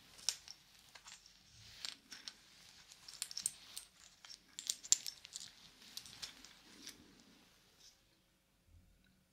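A wristwatch with a wooden link band, a dark metal case and a wooden medallion is held close while its case and band are tapped and scratched with yellow plastic fingertip claws and its links are clicked. About fifteen quiet, irregular taps and clicks come through as sharp, bright ticks with almost no ring, over a soft, high scratching texture.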